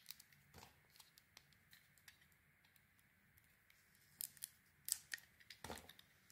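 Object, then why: Bar of soap. A small, round, solid bar of soap with an orange coating is held in the hand and scraped and shaved with a metal utility blade, exposing the white soap underneath. Quiet, bright, crisp scraping and shaving strokes repeat with short, sharp clicks that die away almost instantly. The strokes grow louder and denser toward the end of the clip.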